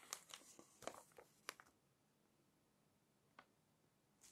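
Fingers smooth the pages of an open glossy paper magazine, then lift and flip them. A quick run of crisp, bright crinkles and papery snaps fills the first second and a half. A quiet gap follows, broken by one sharp crackle and a final rustle at the end.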